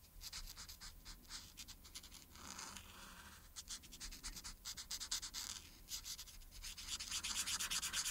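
A marker's felt tip rubs in short strokes across a thin printed paper coloring sheet lying flat, colouring in the collar. Bright, scratchy rubbing strokes come quickly and somewhat unevenly, about two per second, with a smoother, softer stretch near the three-second mark. The strokes grow louder and denser toward the end.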